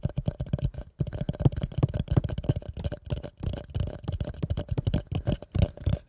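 A plastic bowl is tapped quickly with the fingers in a rapid, uneven flurry of soft, dull thuds. The taps are low and muted with almost no ring, and brief pauses break the run near the one-second and three-and-a-half-second marks.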